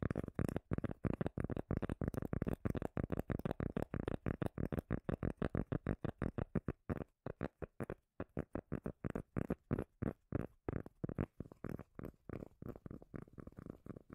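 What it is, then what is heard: Cork lid, deep bass tapping. A cork lid is tapped rapidly and unevenly, giving a dense run of short, dull, bass-heavy knocks. Each knock dies away almost instantly, with a brief pause around the middle before the tapping resumes.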